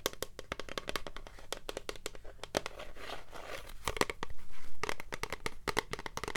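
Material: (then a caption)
Plastic. Long nails tap and scratch on a tall, translucent blue plastic hair product bottle with a black pump, partly full. Quick, uneven clicky taps are mixed with stretches of rough scratching, and the loudest scratching comes toward the end.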